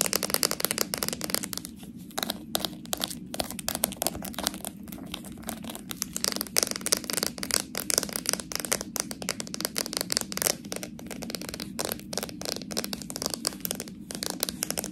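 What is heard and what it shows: Long nails tap and scratch around a small, full purple slime jar with a labelled plastic body and a metal lid. The result is a dense, continuous stream of quick, dry clicks and scratchy rasps with a bright, crisp top. Each tap stops almost instantly, with no ring.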